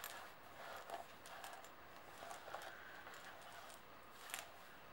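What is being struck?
Metal coins on a table.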